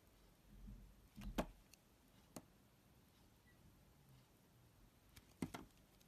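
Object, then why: Glycerin soap bar cut with a blade. A yellow box cutter blade slices and scrapes thin layers off a solid, hand-sized, amber translucent Pears glycerin soap bar held in one hand. Soft, low scraping swells give way to short, sharp cutting clicks that stop quickly, with quiet gaps between strokes and a final pair of crisp cuts near the end.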